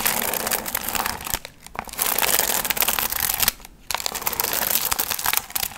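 Long nails scratch the gold foil fringe on a medium hollow paper pumpkin piñata, making a bright, dense crinkling and rustling. The scratching runs almost continuously, with two brief quiet pauses in the middle before it resumes.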